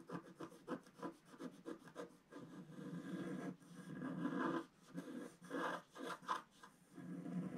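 A wooden stylus scratches curved stripes into the black coating of a flat sheet of wax-coated scratch art paper held by the left hand. Quick, rhythmic dry scratches give way to longer, sustained scraping strokes with a soft, raspy midrange tone.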